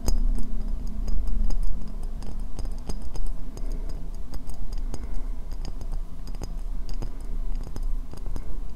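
Long nails tap and scratch the base and sides of a white ceramic bowl, hollow and empty, held upside down. Quick, sharp clicks with bright, crisp tops and a short hollow ring that dies almost at once come steadily for about nine seconds. Soft scratching and a low hum run underneath.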